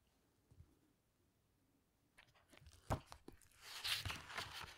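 Long nails and fingertips handle the cover of a large teal hardcover book, closing it with a hand resting on the cover and then reopening it to flip the paper pages. After about two seconds of near silence, sharp taps and crisp crinkles begin, building into a loud, bright, sustained rustle of turning paper at the end.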